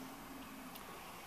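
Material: Nothing is struck.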